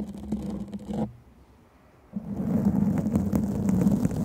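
A black foam microphone windscreen is scratched and rubbed with the long fingernails of both hands, producing a dense, rough scratching with a low droning hum under it. The scratching cuts off after about a second, leaving near silence, then returns louder and continues to the end.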